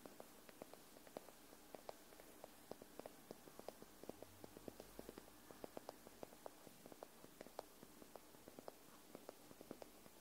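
A white paperback book, a solid paper block, is held upright in front of the mic while long manicured nails tap and scratch along its top paper edge. About twenty quiet, dry, papery clicks sit over soft scratching and a faint steady hiss. Each tap dies away almost instantly.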